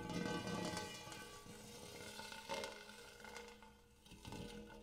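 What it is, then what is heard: Hammered metal bowl. Fingertips and nails tap the dimpled interior of a large, shallow, empty gold hammered metal bowl, finishing with both hands. Each tap brings out a bright metallic ring with steady overtones around 470 Hz, and the tones linger for about a second. The tones overlap into a shimmering wash that swells with the stronger taps and fades between them.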